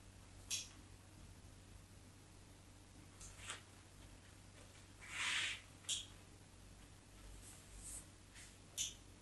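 A craft knife tip scratches cross-hatch lines into the face of a solid white bar of soap held in the hand. Several short, bright, dry scratches rise out of a quiet background with a faint low hum, one of them slightly longer and fuller than the rest.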